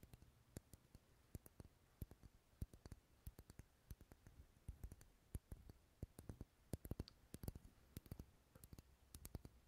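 Fingernails tap and scratch the textured side of a large, dark red, solid wax pillar candle that is unlit and held in a hand. The result is a quiet, irregular stream of short, dry clicks and light scratches. Each tap dies away almost instantly, with most of the energy sitting low in the spectrum.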